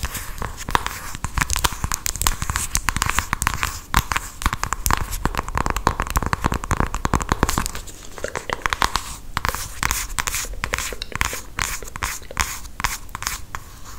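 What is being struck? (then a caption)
Small cardboard box. Long acrylic nails tap and scratch the front and edges of a small, hand-sized printed cardboard cosmetics box. The result is a dense, rapid stream of crisp clicks and dry scratchy rasps across the whole 14 seconds, with a brief softer stretch near the middle.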